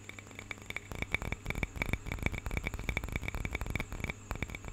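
A small hollow carved wooden cup with a painted bird relief, held in both hands close to the mic, is tapped and scratched with fingertips and nails. Rapid, irregular dry clicks and taps carry a bright woody tone near 2.3 kHz and die away almost instantly. A steady low hum runs underneath throughout.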